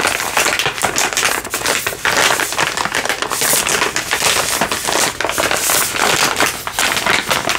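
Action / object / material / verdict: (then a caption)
tap / soft plastic baby-wipes pack / soft plastic / none. A soft plastic baby-wipes pack is crinkled and tapped with fingertips and nails. The result is a dense, continuous run of bright crackling crinkles and quick dry taps, with almost no low end.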